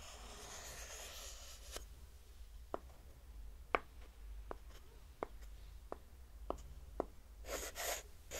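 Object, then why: Small pine-wood hexagonal block. Long manicured nails scratch and tap a small, solid, light pine-wood hexagonal block held in one hand. A soft, bright scratching hiss gives way to a series of sharp, dry taps with almost no ring, then another short burst of scratching at the end, all over a low background hum.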